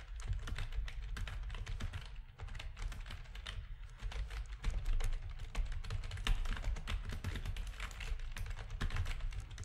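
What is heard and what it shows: A full-size black plastic backlit RGB gaming keyboard with a hollow housing is typed on rapidly with the fingertips of both hands. The result is a steady stream of quick, clacky key presses with bright transient clicks over a deep, hollow low-end thump under each stroke.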